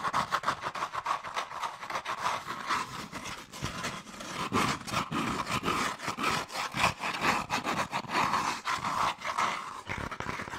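Long nails scratch and tap the inside and outside of a hollow, empty, hand-sized cone of brown molded paper pulp or cardboard. A fast, dense run of dry, papery scratching and quick tapping carries a steady hollow tone around 1 kHz, with short, crisp attacks throughout.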